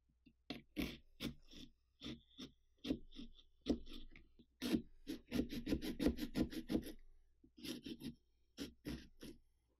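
A small carving saw cuts and scratches through the thick rind around the eye of a large hollow pumpkin, with the other hand pressed flat on the pumpkin. The sound is a quiet, irregular series of short rasping saw strokes with a dull, hollow low-mid body and a bright scratchy edge, bunching into a quick run of strokes midway before slowing again.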